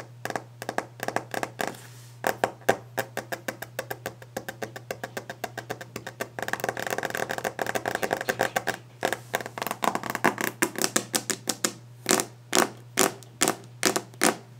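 Long painted nails tap and scratch fast on the solid, polished top of a varnished wooden desk. The result is a rapid stream of short, dry clicks with bright edges, and a dense scratching stretch in the middle. A steady low hum sits underneath.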